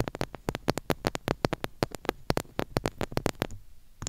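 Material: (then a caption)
Plastic. Long pink nails from both hands tap and scratch the sides of the hollow grille head on a small, silver, chrome-plated plastic mini retro microphone. A quick run of sharp, bright clicking taps, each dying away almost instantly, is heard over a soft low thud and faint scratchy rustle. The tapping briefly thins out near the end before a few last clicks.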